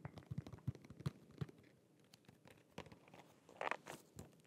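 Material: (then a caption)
Cardboard. A small, flat holographic cardboard press-on nail box with a clear plastic window is held in both hands and tapped and scratched with fingernails. Quick, dry, crunchy taps with soft low thumps come first, followed by quieter scratching and a brighter crinkling burst near the end.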